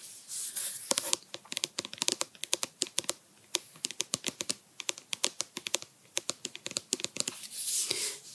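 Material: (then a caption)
Plastic. Long nails tap and scratch the sides of a medium white plastic OUAI conditioner bottle, hollow and apparently filled with product, held in both hands. About forty rapid, bright, clicky taps ring off almost instantly, framed by softer scratchy rubbing at the start and end.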